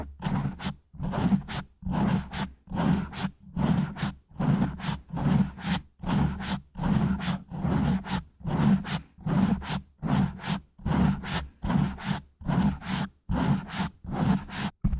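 Fingertips rub and scratch slowly over a black foam microphone windscreen gripped close in both hands. The result is a steady run of muffled, low, rumbling scrape bursts, each swelling and fading in an even rhythm with brief near-silent gaps between them.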